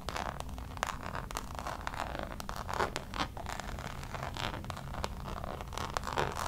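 Long nails scratch the Damier checkered coated canvas of a Louis Vuitton zip pouch, making a dense run of dry, raspy scrapes with quick clicky ticks. The scratching sits in the mid range around 1 kHz with a steady low rumble underneath, and holds an even, quiet level throughout.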